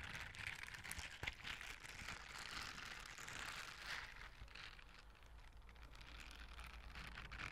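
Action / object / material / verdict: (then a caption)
scrape / silicone bristle scrubber gloves / silicone / none. Blue silicone scrubber gloves with bristle palms are brushed and rubbed together by both hands close to the microphone. This produces a steady, dense scratching and crackling texture that is brightest in the upper range, with a faint low rumble underneath and a few sharper clicks near the start.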